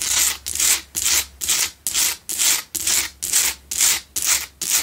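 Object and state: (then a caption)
Himalayan salt candle holder scratched. Long nails scratch the sides of a lit pink Himalayan salt double candle holder made of a solid salt block. The result is a steady, rhythmic run of about a dozen bright, hissy rasping strokes, each swelling and fading with short gaps between.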